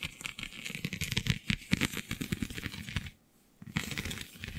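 Long nails scratch and pick at the raised, scale-like bumps of a flexible, iridescent holographic vinyl sheet. A rapid stream of dry, crinkly clicks and scratches with bright, high edges and a low thump underneath. It stops for about half a second of near silence before the scratching resumes.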